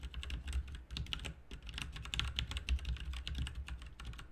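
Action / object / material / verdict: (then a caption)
tap / mechanical keyboard with plastic keycaps / plastic / none. Steady two-handed typing on a backlit plastic RGB mechanical keyboard with plastic keycaps resting on a desk, fingertips striking the keys. The rapid overlapping key clicks have a bright, crisp edge and a faint low hum underneath. Individual strokes blur together into a continuous clatter.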